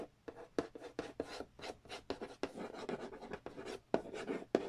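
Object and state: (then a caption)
Cardboard board game box. Fingernails trace and tap across the glossy printed cardboard lid of a large, flat, hollow Monopoly Nintendo edition board game box. A quick, irregular series of short, dry, papery taps is heard, mixed with scratchy rubbing between them. The hits have a hollow midrange knock that dies away almost instantly.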